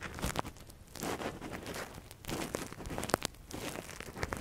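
A metal earpick scratches deep inside the canal of a silicone ear model while gloved fingers hold it. The result is close, crinkly scraping and rustling with bursts of sharp, bright clicks and crunches.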